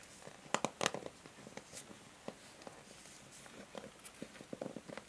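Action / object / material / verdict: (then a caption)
scrape / plastic hair brush / plastic / none. Long nails scratch and tap the bristles and rim of a pink and grey plastic hair brush. Soft, irregular clicks and scratchy ticks come through, with a louder cluster near the start. Each sound is short and dry over a faint hiss.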